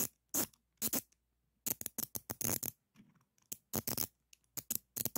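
A black-handled screwdriver with a metal shaft scratches and taps the jaw of a solid chrome steel adjustable wrench held in one hand. Short, bright scrapes and clicks come in quick bursts with quiet gaps between them. Each stops almost at once, with no ringing after it.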